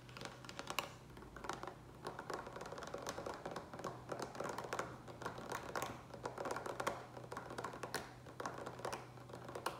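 Fingertips and nails tap quickly across the front and sides of a large green plastic water pitcher with a lid, partly filled with water. The result is a dense, uneven run of short, hollow plastic clicks and knocks, centered around 1.1 kHz with bright nail ticks. A faint steady low hum sits underneath throughout.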